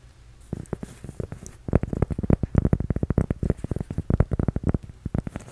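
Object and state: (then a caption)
Cork coaster tapped. A flat, solid, toast-shaped cork coaster, held up in one hand, is scratched and tapped with the fingertips and nails of the other. Soft, faint scratching comes first, then a dense run of quick, dull, low taps with almost no ring, continuing steadily to the end.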